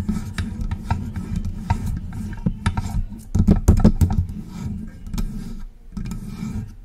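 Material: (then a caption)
Metal. Long press-on nails scratch and tap along the sides of a silver metal desktop USB microphone with a hollow body. The result is an irregular run of rough rasping strokes and sharp clicks over a deep, boomy low resonance from the body, swelling louder in the middle before easing off.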